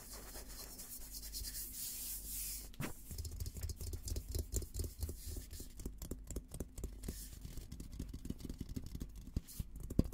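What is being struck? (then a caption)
Steel helmet shell. Fingertips tap and rub the top and rim of a hollow, olive-green painted steel military helmet. A soft, steady rubbing hiss comes first, then a quick, irregular run of light taps with a dull, low, hollow thump and very short ring.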